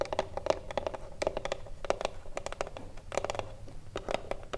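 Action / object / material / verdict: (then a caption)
tap / small wooden cigarillo box / wood / none. Long blue nails and fingertips tap quickly and irregularly on the top edge and front face of a small hollow wooden cigarillo box. Each tap gives a short, dry click with a hollow midrange knock and almost no ring. Soft scratchy contact sounds run between the taps.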